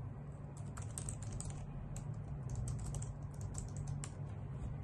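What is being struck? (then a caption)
Plastic computer keyboard typed on with nails. Long nails and fingertips type on a white full-size plastic computer keyboard with hollow key caps, making a steady run of light, bright clacks and taps. The clicks sit over a constant low hum that stays at an even level throughout.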